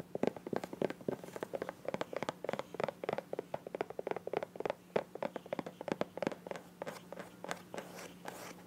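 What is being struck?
Soft plastic squeeze bottle.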